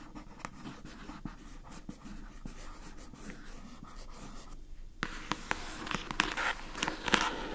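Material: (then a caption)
Plastic. Long acrylic nails scratch across the labeled lid of a rectangular pink plastic food container box, making a soft, dry, papery rasp dotted with sharp little clicks. About two-thirds of the way through, the scratching turns louder and brighter, with crisper taps standing out.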